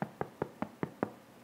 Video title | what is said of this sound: Quick Spelt Bread ✪ MyGerman.Recipes | So let me show that again. When it sounds hollow, that means your bread is finished.